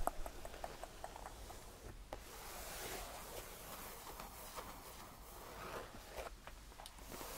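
Fingertips tap and flat hands brush the surface of a cream faux leather tufted padded bench. Soft, quiet taps sound over a steady, airy brushing and rubbing hiss that reaches high into the treble. A low rumble sits underneath throughout.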